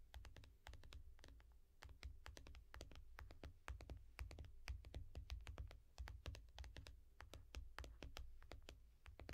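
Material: Glass.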